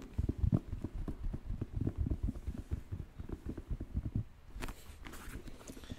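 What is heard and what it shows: Fingertips and nails tap and scratch a white, black and purple Air Jordan 1 Mid sneaker with a leather upper, held close. Rapid, irregular soft thuds, about four per second, carry deep, muffled low-end weight for the first four seconds. They then give way to quieter, brighter scratching strokes across the leather.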